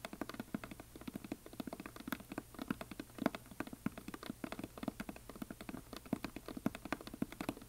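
Fingernails of both hands tap rapidly along the side edges of a solid, painted wooden heart-shaped plaque, making quick, dry, woody clicks with almost no ring. The taps come in an uneven, pattering stream with a mid-low body.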